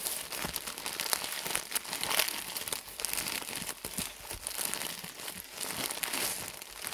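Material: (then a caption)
Plastic film. A soft, full pad package wrapped in thin plastic film is squeezed and crinkled with the fingertips of both hands. The result is a steady, dense run of bright, crackly crinkling with quick rustles and no low rumble, swelling and easing over the seven seconds.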